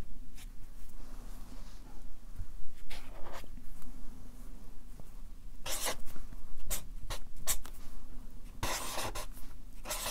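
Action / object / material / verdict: scrape / felt-tip marker on paper sheets on a clipboard / paper / none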